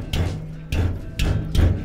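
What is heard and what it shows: Four dull, low thuds as a metal fender bracket, now fastened with two screws to its tube, is struck again. Each knock is deep and short, with a faint bright tick at the start and no metallic rattle after. The old rattle came from the metal hitting the tube, and the bracket is now secure and quiet.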